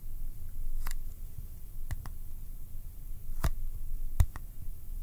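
A small Kodak ColorPlus cardboard film box is held in one hand and tapped or clicked with the fingertips. Short, sharp, dry clicks with a bright edge sound at irregular intervals over a quiet, low background rumble.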